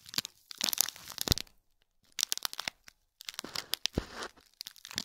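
Fingernails scratch the top and sides of a small gold foil-wrapped gift box in plastic film, crinkling the wrap. Bright, crackly crinkles and scratches come in three bursts separated by short silent gaps. The sound is mostly high-pitched with little low end.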